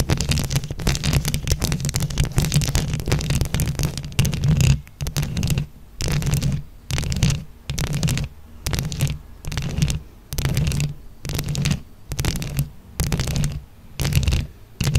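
Long acrylic nails on both hands scratch a round microphone head covered in small glued-on plastic flower buttons. The first few seconds are a dense, continuous rumbling scratch with bright crackle on top. It then breaks into short scratching bursts about once a second, separated by brief silences, with a heavy low-end rumble throughout.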